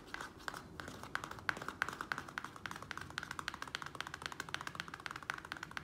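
Fingernails of both hands rapidly tap and scratch the sides of a small square black plastic nursery pot holding soil, resting on a wooden table. The result is a fast, dense run of short, dry clicks with a hollow plastic ring around 1.5 kHz, with bright scratchy edges and almost no low end.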